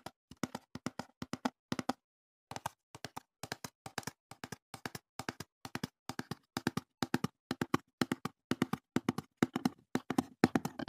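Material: Cardboard.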